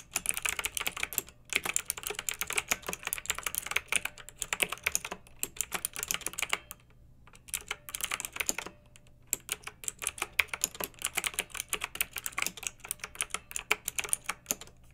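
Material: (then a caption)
Plastic. Fingertips with long nails type steadily on a pink backlit plastic mechanical keyboard with round typewriter-style plastic keycaps. The result is a dense run of short, bright, clacky keystrokes with almost no low end, broken by brief pauses around the middle of the clip.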